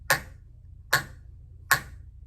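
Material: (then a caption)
Wood. A wooden popsicle stick (tongue depressor) lies on a table edge with part hanging off, and the overhanging end is thumped three times, making it vibrate. Each thump is a short, bright, twangy snap with a tone near 1.7 kHz that dies away almost at once, over a low background hum.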